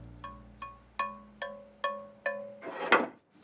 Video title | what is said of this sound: Where Horsehair Meets Harmony: The Precise World of Bow Maker Susan Lipkins | So one of the properties of Pernambuco, if you tap it, it sounds like a crystal goblet.